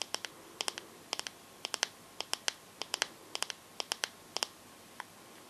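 Long gold-painted fingernails tap quickly on the glossy glass back of a teal Samsung smartphone with a metal frame, held upright. Sharp, bright clicks come in short bursts of two or three, each dying away almost instantly against a quiet background.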